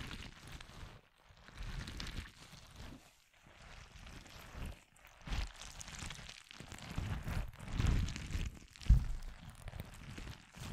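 A palm-sized squishy stress ball with a thin translucent rubber skin, filled with orange and white water-gel beads, is held in one hand beside the microphone without touching it. It is squeezed and kneaded with the fingertips and long painted nails. The result is soft, low, bassy squelching and crackling in uneven waves, with brief quiet gaps between squeezes.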